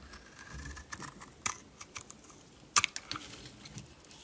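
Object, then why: Bar of soap cut with a metal blade. A metal utility knife blade shaves flakes off a solid purple bar of soap held in the hand. It makes a quiet series of short, dry, bright scraping clicks, with the sharpest cuts near 1.5 and 2.8 seconds. Each snap dies away almost instantly.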